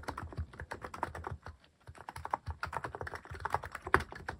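Fingertips type steadily on a mechanical keyboard with plastic cat-shaped keycaps, producing about two dozen quick, dry clacks with a soft low thock under each press. A brief pause falls midway before the typing resumes, and each keystroke stops almost instantly with no ring.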